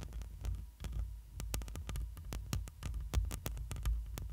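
Long pointed nails of one hand scratch over the black metal mesh grille of a hollow studio microphone, with the fingers resting on the grille. Rapid, dry scratching clicks and ticks sit on top of a deep, throbbing low hum that holds almost all the energy. A faint steady tone runs underneath throughout.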